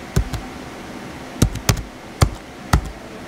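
Fingertips type on the white plastic keys of a small blue plastic HP laptop. Eight short, irregularly spaced key taps sound dull and low, each with a quick bright click on top. They die away almost instantly against a faint steady hiss.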